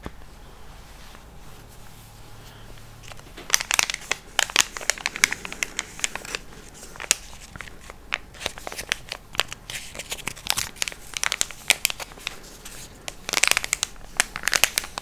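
A small, flat, single-dose Smecta sachet, an apparently full paper-and-foil packet, is held in front of a microphone and squeezed, rubbed and crinkled between the fingertips of both hands. After about three and a half seconds of quiet low hum, dense bursts of bright, dry crackling begin, like shuffling cards. The bursts come in uneven clusters with short pauses until the end.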